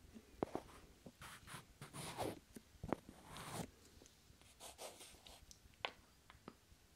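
Two small, solid, pale wooden cubes are slid and pressed together by fingers close to the microphone. Quiet, breathy scraping swishes are broken by short, sharp wooden clicks that die away almost instantly.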